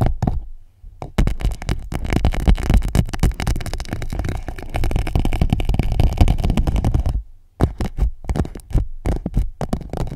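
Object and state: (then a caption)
Plastic pouch being tapped and scratched. An empty clear PVC pouch wrapped around a microphone is tapped and scratched with long nails, producing dense, rapid, irregular thumps and crinkly scratching that are heavy in low, muffled bass. The busy tapping runs almost continuously, breaks off briefly near the seven-second mark, then resumes as quicker, separated taps to the end.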